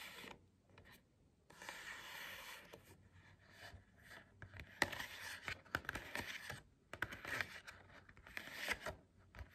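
Long acrylic nails scratch and tap the printed cardboard back cover of a hardcover book held upright. Soft bursts of dry, bright scratching alternate with short quiet pauses, and sharp little taps click through the strokes with almost no ring.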